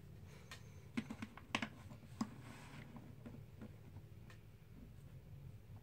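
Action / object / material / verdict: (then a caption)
strike / stack of plastic composite poker chips / plastic composite / none. A stack of black plastic composite poker chips, solid discs held in both hands, is riffled by the fingers and clacked together above the box. Several sharp, short clicks stand out over a soft, steady rustling, with quieter taps continuing afterward.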